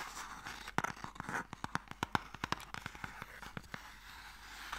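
Long painted nails tap and scratch the lid and sides of a small, long, light, hollow wooden Mikado game box held in the hands. Quick, dry, hollow-sounding taps with a woody midrange ring fall in an uneven series over a soft, steady scratching hiss. Each tap dies away almost at once.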